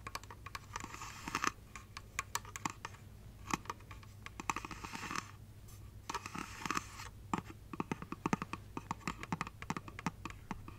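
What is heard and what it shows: A hollow glass light-up Christmas tree figurine is held near the mic while long nails tap and scratch its glittery base and body. Quick, dry clicks and ticks alternate with bright, hissy scratching bursts, over a faint steady low hum.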